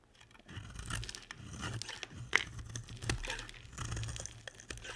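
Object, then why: Bar of soap. A box-cutter blade carves and scrapes flakes off the end of a solid, dry, hand-sized pink and white striped bar of soap. Irregular crisp crunches and dry, crinkly scraping run through the clip, with a sharper bright snap in the middle over a low, steady rumble.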